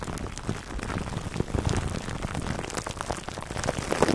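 Fingertips scratch clear plastic cling film wrapped over a black foam microphone windscreen. The result is a dense, continuous crinkling rustle of tiny crackles and pops, heavy in the low end, with slightly louder bursts near the end.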